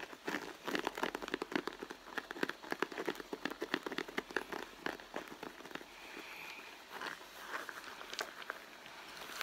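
Fingertips and long nails tap and scratch the surface of a hollow, soft red pebbled-leather handbag. The result is a dense run of quick, dry clicks and scratchy crackles with a bright edge and almost no low end. The tapping is busiest in the first half and turns into softer rubbing and scratching toward the end.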